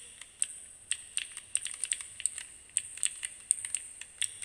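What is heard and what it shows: Fingertips repeatedly press and click the plastic keys of a small plastic keycap fidget cube held close up. A quiet, irregular string of sharp, bright clicks, each dying out almost instantly, with nearly no low end.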